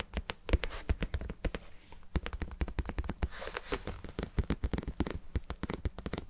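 Fingertips and nails tap rapidly on the sides of a hand-sized, glossy red-pink vinyl cube, likely hollow, held in both hands. It gives a fast, uneven run of short, dull, low thumps mixed with light clicky taps. Each tap dies away almost instantly.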